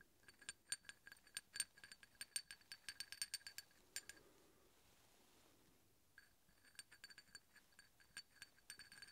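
A large solid steel hex bolt is held up and tapped repeatedly with the tip of a steel drill bit, giving quick, bright metallic clinks with short high pings. The taps come in an irregular rapid run, stop for about two seconds of near silence, then resume more sparsely to the end.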